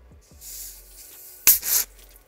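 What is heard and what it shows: A plastic bottle of Pure Life sparkling water is shaken so its fizz can be heard, confirming the water is carbonated. A faint bright hiss gives way to two loud, sharp bursts of high fizzing spray close together, then it quiets back down.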